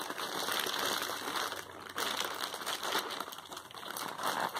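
Fingertips and painted nails rub and press the crinkly surface of a medium-size white plastic poly mailer bag, soft and filled with clothing, lying flat on a bed. The result is continuous dense crinkling and crackling with a bright, hissy edge and almost no low end, swelling and dipping slightly throughout.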